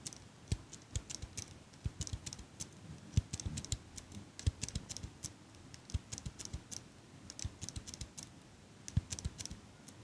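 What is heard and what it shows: Long pink nails click the handles and tap the frame of a small metal eyelash curler held close to the mic. The result is a quiet, irregular stream of short, crisp clicks and light ticks with bright edges over soft low thumps. Each sound dies away almost instantly.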